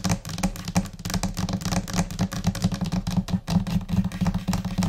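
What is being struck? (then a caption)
Laminate desk. Long painted nails and fingertips tap on a flat, solid white laminate desk surface in scattered, chaotic rhythms. A dense run of quick, dry taps, each with a low, thuddy body and a short clicky edge, dies away almost instantly.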